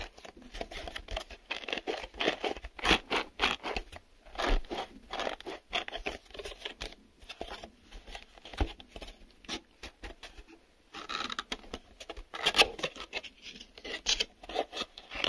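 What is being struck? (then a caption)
Small printed cardboard box. Fingertips and nails tap on the printed sides and inner flaps of a small, empty, hollow printed cardboard retail box that is open at one end. The result is a quick, uneven patter of dry, papery taps and light scratches, bright and crisp with almost no ring, coming in dense bursts separated by brief pauses.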